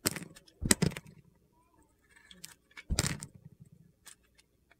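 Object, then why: Bar of soap with a glitter coating. A solid bar of soap with a blue glitter coating, held in the hand, is peeled into slices with a metal utility knife blade. Bursts of crisp, gritty, crunchy scraping are separated by quieter pauses and light scratches. The soap comes away in thin slices.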